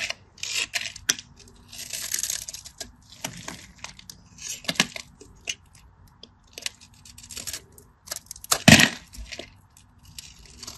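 A craft knife blade scrapes and cuts the scored surface of a solid cream bar of dry soap held in the hand. Bright, dry scratching and crackling come in repeated short bursts separated by brief pauses, with the loudest, sharpest crunch near the end.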